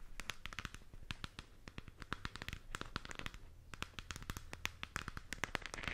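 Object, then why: Plastic globe lamp. Long acrylic nails tap and scratch a hollow plastic galaxy moon lamp globe. A quiet stream of rapid, sharp, bright clicks comes through, with each tap dying away instantly. Soft scratchy crackle fills the gaps, over a faint low hum.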